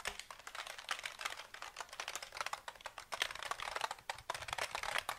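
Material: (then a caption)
Plastic. A KLIM black plastic mechanical keyboard with a grey frame and hollow housing is held up and moved around while fingertips tap and type on its keys. A rapid, uneven stream of short, bright plastic clicks and clacks is heard, each dying away almost instantly with almost no low end.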